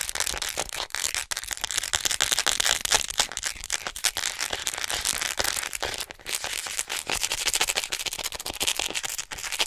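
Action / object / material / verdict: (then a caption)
tap / plastic acupuncture model doll / plastic / none. Long nails tap and scratch fast along the body of a hollow white plastic acupuncture human model held beside the mic. The result is a dense, bright run of crisp clicks and crackly scraping with almost no low end, each tap dying away almost instantly.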